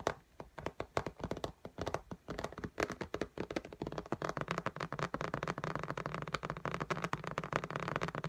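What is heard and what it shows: Long nails on both hands tap rapidly on the glass screen of an iPad in a pink case lying flat. The taps are short, dry clicks with a midrange tone and almost no ring, starting as separated bursts and building into a dense, continuous flurry.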